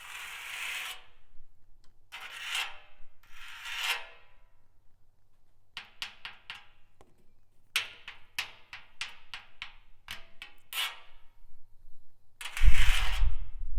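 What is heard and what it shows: A nail worn on a fingertip scratches and taps a rusty steel drum. Bright, hissing scrapes at the start give way to a run of quick, crisp ticks and taps. The clip ends with a louder scrape carrying a low rumble.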